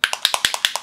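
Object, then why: Plastic paint dropper bottle with a steel ball bearing inside. A plastic paint dropper bottle of skeletal bone paint is shaken after a steel ball bearing has been dropped inside. The bearing rattles against the bottle as it mixes the paint, giving nine quick, bright clicks in a steady rhythm. The clicks are mostly high in pitch with very short decay.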